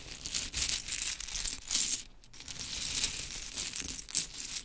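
Long chrome nails pick up, drop and rake a pile of small pink mini wooden clothespins on a glittery cloth. The sound is a steady run of bright, dry clicks and rattling clatter, with the energy mostly high, and a brief quiet dip about two seconds in before the raking resumes.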